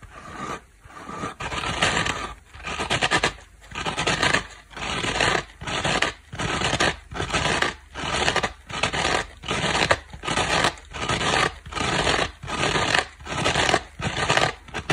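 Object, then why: Foam kitchen sponge with abrasive scouring pad. Long black nails scratch a small, dry, layered dish sponge held in one hand: yellow foam with a blue cloth face and a black abrasive scouring side. They work the blue side first, then the black scour pad. The result is a steady run of rough, bright scratching strokes, each a dense burst separated by brief gaps, with a dry finish and no ring.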